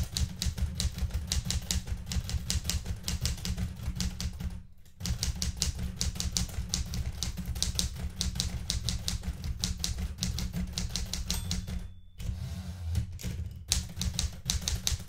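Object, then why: Metal manual typewriter. Fingertips with red-painted nails type steadily on the plastic keys of a blue metal portable manual typewriter, producing a fast stream of sharp, bright clacks over a heavy low rumble. Typing pauses briefly near 5 and 12 seconds, then resumes at the same brisk pace.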